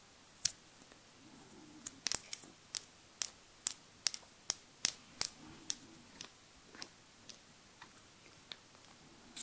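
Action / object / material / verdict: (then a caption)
tap / small glass dropper bottle / glass / none. Long nails tap a small glass cosmetic foundation bottle with a dropper cap, filled with beige liquid, close to the microphone. About eighteen quiet, sharp, bright clicks sound one by one at an uneven pace, each dying away almost instantly. They come densest in the middle and grow softer and sparser toward the end.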